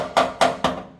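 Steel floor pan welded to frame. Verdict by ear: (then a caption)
Solid. A welded steel sheet-metal floor pan, a transition pan on a Mustang, is flicked three times over the frame. Each flick gives a sharp, bright ringing tap around 680 Hz that quickly decays. The clear ring confirms a good, solid weld to the frame.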